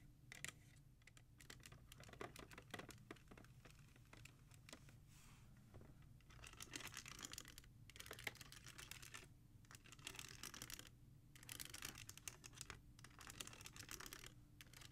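Fingertips and nails tap quickly across the spines of a row of plastic CD jewel cases standing in a black rack. The result is dense, bright clattering clicks in fast bursts with brief pauses, over a faint steady low hum.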